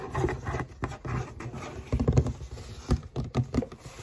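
Fingertips and long nails rub and scratch the flat side of a hollow black cardboard shoebox held upright. The result is a dull, low, hollow rustling and thumping with quick scratchy bursts that die away almost at once. Most of the sound sits deep in the bass, with very little brightness on top.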